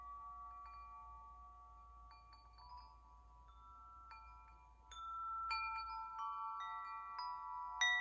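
A hollow metal tube wind chime, held up by its string, is gently shaken so the tubes and central striker collide. Layered, bright bell-like tones ring on and overlap, staying soft for the first few seconds before louder strikes come in during the second half.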